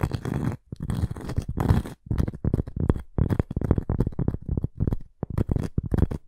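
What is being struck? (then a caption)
Cork and wood coaster. Long acrylic nails scratch and tap the cork top of a round, flat, solid coaster with a thin wooden rim, held in the hands. The result is a run of dull, low, muffled scratching strokes and quick soft taps in short bursts, with brief pauses between them.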